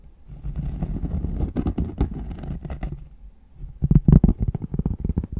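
Cork being scratched and then tapped, close up. A low, dull scraping rustle gives way to a quick run of soft, muffled knocks with no ring, the sound sitting almost entirely in the low range.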